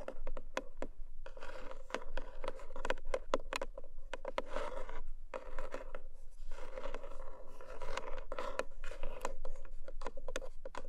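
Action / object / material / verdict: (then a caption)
scrape / cardboard gift box / cardboard / none. Long manicured nails of both hands tap and scratch the top of a long, narrow, black lidded cardboard gift box with a textured paper surface, probably hollow with unknown contents. Quick, sharp, bright clicking taps alternate with dry, hissy scratching passages over a steady hollow midrange tone and a faint low rumble, continuing without pause for eleven seconds.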